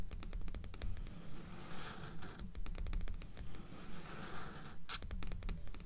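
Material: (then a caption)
Paper. Long fingernails on both hands tap and scratch the dark cover of a solid paper paperback resting on top of a stack of books. The result is a quick, uneven run of dry, short clicks and scratchy strokes with a dull low thump beneath, and a brighter scrape near the end.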